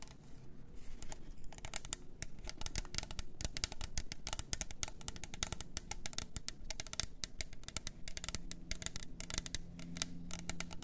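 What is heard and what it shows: Long nails rapidly tap and scratch the sides and lid of a hollow, double-walled plastic glitter tumbler. Dense, bright clicks and scratchy rasps come in quick, uneven bursts over a steady low hum throughout.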